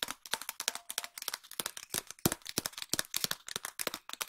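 A long, empty, hollow cardboard tube is tapped with long nails in a quick run of about thirty sharp, separate taps. Each tap is a dry, bright click with little low end and almost no ring, making an uneven crackling patter.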